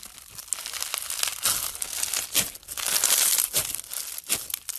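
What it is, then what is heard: Bead-filled clear slime (floam). Bare fingers squeeze, knead and fold a soft, solid handful of clear pastel slime packed with small round pink, blue and white plastic or foam beads. The beads give off dense, bright crackling and crinkling in overlapping bursts with almost no low end, swelling and fading as the slime is worked.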